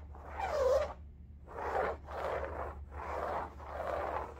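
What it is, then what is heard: Fabric bolster pillow being scratched. Long nails scratch and rub across a large, soft-filled cylindrical bolster pillow covered in striped woven fabric, making five separate raspy strokes. Each stroke is a soft, zipper-like scrape centred in the mid range, with a faint low hum running underneath throughout.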